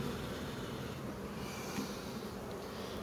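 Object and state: Nothing is struck.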